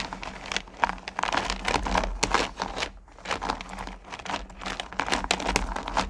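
A hand with long nails runs through and stirs a purple plastic bucket full of small, solid sugar candy corn pumpkins. The candies make a dense, bright clattering and crinkling rattle that swells and eases, with a brief quieter lull midway. A faint steady low hum sits underneath.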